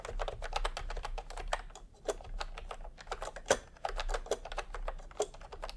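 Bare fingertips of both hands type fast on a full-size pastel plastic retro keyboard with round plastic typewriter-style keycaps, resting on white fabric. A rapid, uneven run of short, sharp plastic clacks centers around a midrange tone near 540 Hz, each dying away almost instantly, over a steady low hum.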